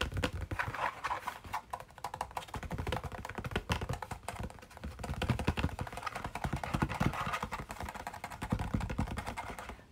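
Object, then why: Printed cardboard sweet box. Fingernails rapidly tap and scratch the face of a medium-sized printed cardboard Orange Burfee sweet box held in the hands. The result is a dense, continuous patter of short, dry clicks with a hollow low thump under each tap and a light papery scratch between them, steady across the clip before easing off at the end.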